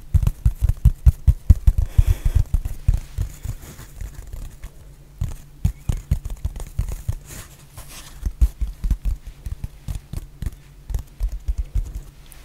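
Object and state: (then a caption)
Foam block. Long painted nails tap and scratch a solid, hand-sized rectangular black foam block, making quick runs of soft, dull, low thuds. The taps come fast and unevenly in bursts, with brief scratchy rustles between them, and each tap dies away almost at once.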